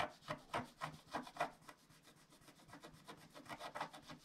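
A wooden stylus scratches back and forth across a flat scratch-art card of black wax-coated paper to fill in an area, while the other hand steadies the sheet. The dry, raspy strokes come in a quick, uneven rhythm, louder at first and then softer and denser before picking up again near the end.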